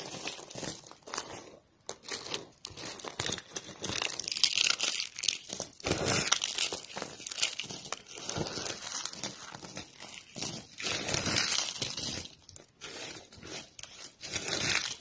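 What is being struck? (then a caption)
Soap shavings. Fingertips with painted nails, on a hand wearing a ring, press and crush a heap of thin, brittle, dry pink solid soap flakes. The result is a dense, irregular stream of bright, dry crackling and crinkling crunches with very little low end, swelling and easing as the flakes break apart.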